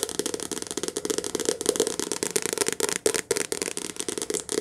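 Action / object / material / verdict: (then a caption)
tap / softcover paperback book with card cover / paper / none. A medium softcover paperback book with a glossy card cover, a solid paper block, is held upright in both hands and tapped fast with long painted nails. The result is a dense, rattling stream of short, dry clicks with a papery body around 440 Hz and a bright crackle on top, with almost no low end and no ring after each tap.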